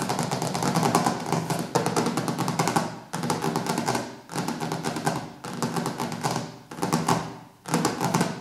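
Fingertips and nails tap and scratch across the glossy dark cover of a large, solid hardcover cookbook with white edges lying on a wooden table. The result is dense runs of quick, crisp clicks and scrapes over a low, soft thud, broken into several bursts by short pauses.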